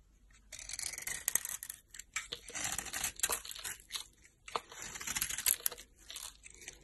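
A solid bar of soap with a green glitter coating and pink interior is held in hand and shaved with a utility knife blade. The result is a series of bright, crisp scraping and crackling strokes, mostly high-pitched, separated by brief quiet pauses.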